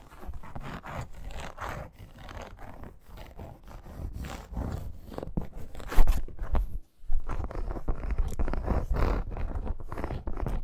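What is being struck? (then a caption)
Embossed faux leather wrist guard. Long nails scratch quickly across the textured surface of a red embossed faux crocodile leather wrist guard, giving a dense run of dry, rasping strokes with a heavy low rumble. A louder scrape near the middle is followed by a brief pause before the scratching resumes.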